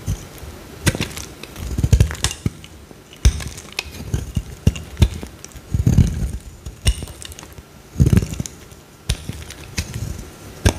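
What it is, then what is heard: Bar of soap being carved. A small, solid, pale green Dettol bar soap held in the hand is scraped and carved with a metal utility knife blade, shedding crumbly shavings. Dozens of short, dry scrapes and crisp clicks follow one another in uneven bursts, each with a soft low thud underneath and a quick, bright edge that dies away almost at once.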